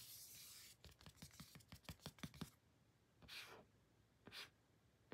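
Fingertips and short nails rub and scratch the surface of a small, flat, thin, solid pink printed cardboard photo card held in the hand. A soft, bright hiss opens the clip, followed by a quick run of twelve dry scratches and taps. Two longer, airy rubbing swishes follow, all at a quiet level.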